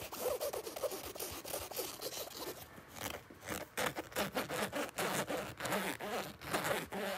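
Fingertips and short nails scratch and rub the surface of a soft, hollow black nylon fabric bag near the zipper along its edge. Quick, uneven bursts of bright, raspy scratching repeat throughout, easing into a quieter, softer rubbing stretch around three seconds before picking back up.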